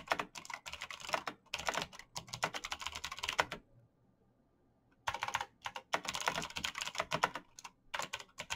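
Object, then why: Plastic mechanical keyboard. Fingertips type quickly on a black plastic mechanical keyboard with backlit keys, producing rapid, bright clicking taps in dense bursts. The typing stops for about a second and a half in the middle, leaving near silence, then resumes at the same fast pace.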